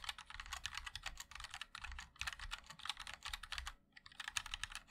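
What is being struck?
Mechanical keyboard with plastic keycaps.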